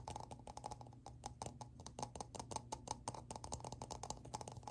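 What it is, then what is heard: Plastic lid tapped with fingertips. Fingertips tap quickly on the flat surface of a hollow, round, black plastic lid with a ridged rim, which is turned to show the rim at the end. Around thirty short, dry, clicky taps sound with a hollow mid tone near 870 Hz and bright tops over a steady low hum, with almost no ring after each tap.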